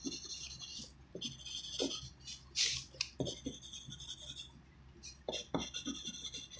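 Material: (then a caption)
Paper. A graphite pencil tip writes by hand on a thin white sheet of writing paper resting on a wooden desk, making a continuous, bright, raspy scratching. Short strokes come in quick bursts with brief pauses, and a faint low hum runs underneath.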